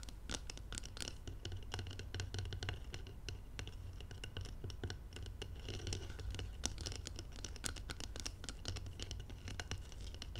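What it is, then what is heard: Glass jar scratched and tapped with nails. Long nails scratch and tap the outer wall of a round, labeled glass jar filled with golden material, resting on blue velvet. Dense, rapid, bright scratchy clicks and taps continue throughout at a quiet level over a steady low hum.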